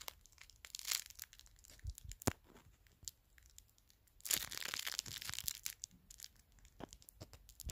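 Thin, clear plastic wrap, hollow and loose, is crumpled and crinkled between the fingertips. It makes quick, bright, crisp crackles in scattered bursts, with a denser, louder stretch of crinkling in the middle. Between bursts there are quiet pauses with little low end.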